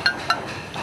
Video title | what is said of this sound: [극한직업] - 죽염공장 1~2부 | 소리가 쇳소리다, 쇳소리. 되게 맑은 소리가 나네요.